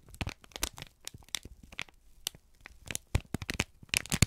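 A folded, crinkled sheet of brown kraft paper is held in both hands, squeezed and rubbed with the fingertips. Close, dry crackling and crinkling bursts come in irregular clusters, with bright crisp edges over a soft low rustle. Each burst cuts off almost instantly, with louder crunches near the end.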